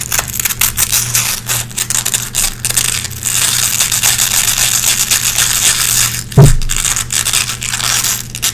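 Long red-painted nails scratch across a small gray nylon velcro hook patch held between both hands, pulling lint out of the hooks. It makes a steady, bright crackling scrape over a low hum, with a louder crunching burst about two-thirds of the way through.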